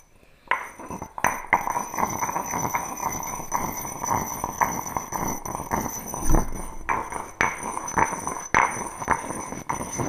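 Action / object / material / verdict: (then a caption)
knock / granite pestle in a granite mortar / granite / none. A granite pestle taps and knocks inside an empty granite stone mortar, producing a steady run of sharp clinking hits over about ten seconds. Each knock has a quick attack and a short, bright ring that dies away fast, with a low stone thud beneath it and a tonal center near 324 Hz.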